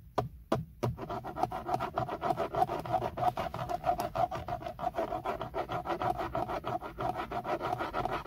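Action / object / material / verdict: scrape / textured plastic steering wheel airbag cover / plastic / none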